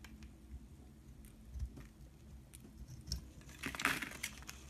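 A solid pink rectangular bar of soap, held in the hand, is shaved and scraped with a utility knife blade, peeling flakes off. Soft, crinkly scraping and brief crisp shaving bursts rise over a quiet low hum. The loudest, brightest strokes come near the end.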